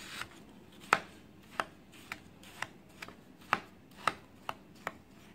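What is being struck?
Compressed baking soda block and knife.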